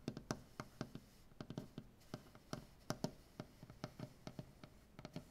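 One hand taps and knocks with fingertips and nails on a large, solid maple butcher block tabletop. About two dozen quick, separate hits land in an uneven rhythm. Each gives a short, dull wooden knock with a low body and a faint bright click that dies away almost instantly.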